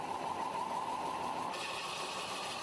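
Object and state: Nothing is struck.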